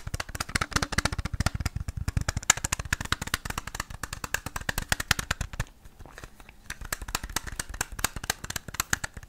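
Fingernails rapidly tap and scratch a small, hollow red plastic Game Boy cartridge with a paper label, making a dense run of dry, clicky taps with a soft low thump and bright scratchy ticks. The clicks die away almost instantly. The tapping eases off briefly around the six-second mark before picking back up.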